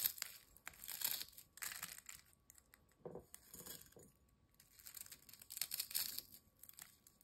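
Thin, dry, crisp ridged potato chip pieces are crumbled into small bits by fingertips over a glass bowl. Quiet, bright crackling and crinkling come in dense bursts, with a brief softer patch of lower crackles in the middle before the sharp crunching picks up again.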